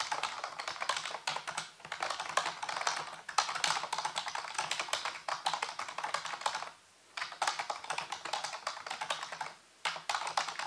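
Fingertips type rapidly on a full-size black plastic computer keyboard with hollow keys, resting on a white base. Dense, bright plastic clicks and clacks run continuously, with short pauses around 7 seconds and just before 10 seconds. A faint low hum sits underneath.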